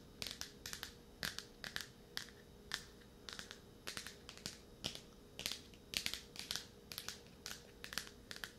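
Fingernails tap and scratch on an 'Olympians: Hades' paperback graphic novel, a solid paper book with a glossy card cover, held close to the mic. The result is a steady run of short, crisp, bright clicks and scrapes with almost no ring. A faint low hum sits underneath.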